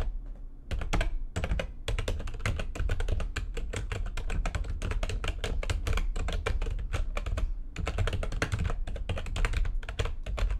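Fast typing with long nails and fingertips on a full-size plastic computer keyboard with white backlighting and a hollow housing. It makes a dense, continuous stream of quick clacks with bright, crisp tops over a hollow, low-heavy thump. Each keystroke dies away almost instantly.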